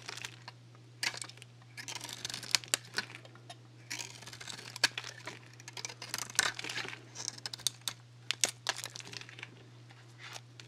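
A dry bar of Axe soap, painted solid black with nail polish and lacquered, is held in the fingers while a metal blade scrapes and shaves crispy curls from its surface. The result is bright, crackly scraping with sharp, dry snaps and crinkles in quick irregular bursts, over a faint steady low hum.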